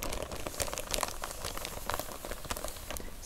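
Long press-on nails and fingertips scratch and press across a sealed, clear, thin polyethylene bag that is full and soft, holding a pair of navy canvas plimsolls with a paper price tag on top. A continuous, dense crinkling and crackling with many quick sharp ticks sits over a low rumble, with bright crisp highs and very little ring after each touch.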